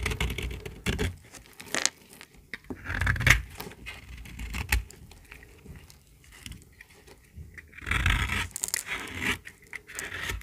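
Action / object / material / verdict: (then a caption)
scrape / bar of soap / soap / none. A small, solid, pink bar of dry soap held in the hand is cut and scraped with a metal utility-knife blade. It makes dry, crackly scraping and crisp flaking sounds in short, uneven bursts, with a bright edge and a low thud beneath. The loudest passes come around the third and eighth seconds.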